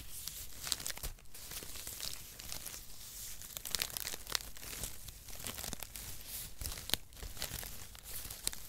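A light, dry bundle of thin brown cut cardboard packaging strips is held in both hands in front of the mic and squeezed and crinkled with the fingers. It makes a steady, papery crinkling and crunching rustle with a bright, hissy top and a soft low rumble underneath. Sharp, dry crackles pop out now and then and stop instantly.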